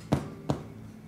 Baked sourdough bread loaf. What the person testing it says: Suena hueco. es el gas que tenemos adentro.